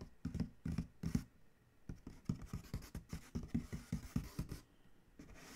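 Fingertips tap and scratch the side panel of a large, hollow Chewy corrugated cardboard shipping box, making quick, dull, low-pitched knocks with almost no ring, mixed with dry scratching. It ends with a hand rubbing across the panel in a softer, steady hiss.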